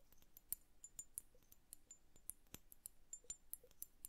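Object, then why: Glass hourglass filled with liquid. Long nails tap the lower bulb of an upright glass bubble hourglass filled with blue liquid. The result is a quiet, quick, irregular run of short, dry clicks with bright, glassy ticks that stop instantly, over a faint low background.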